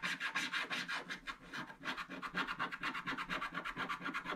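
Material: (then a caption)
Coated paper. A wooden stick scratches short strokes across the upper black area of a black wax-coated scratch-art page in a book while the other hand holds the page. Quick, dry scraping rasps repeat in a steady rhythm, bright and hissy with a mid-high tone and almost no low end. A brief slower stretch comes near the middle before the strokes pick back up.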